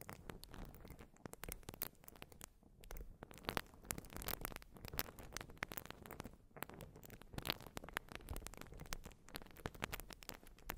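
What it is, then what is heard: Urethane foam sponge. A white porous urethane foam sponge is scratched and squished with long nails over the microphone. It makes a steady stream of dense, quiet crackling scratches and soft squishy rustles with sharp, bright clicks that die away instantly.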